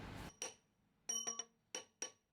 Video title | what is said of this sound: Meet Belgium's last shale 'miner' who works in solitude - AFP | Il n'y a pas un creux dedans. Il n'y a pas une fissure. Il n'y a pas un écartement entre les strates.